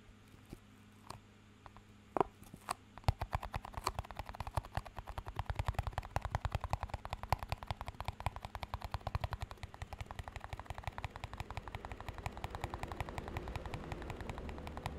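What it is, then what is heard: Small empty plastic cup. A small, empty, clear plastic cup is tapped and scratched with fingertips and nails. A few sparse, sharp taps give way after about three seconds to a fast, dense run of dry, low-heavy clicks that continues steadily to the end.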